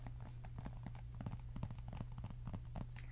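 Long red acrylic nails tap on the back and edges of a flat, thin, notebook-sized pink plastic LCD writing tablet held upright in both hands. The result is a quick, irregular run of short, dry clicks over a steady low hum.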